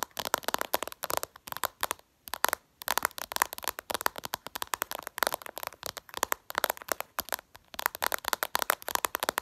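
Long purple nails tap fast and aggressively on the glossy glass screen of a smartphone lying flat. It makes rapid bursts of sharp, dry clicks with a bright midrange tick and no low end. A brief pause comes around the two-second mark before the tapping resumes.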